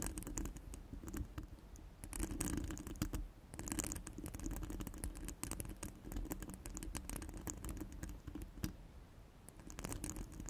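Very long, pointed black-red nails scratch and tap a round, hollow steel wire-mesh microphone grille set on a cork mat. The result is a dense, steady patter of quick, dry clicks and raspy scratches with bright, crisp edges over a soft low-end body. The sound comes in loose bursts that barely ring.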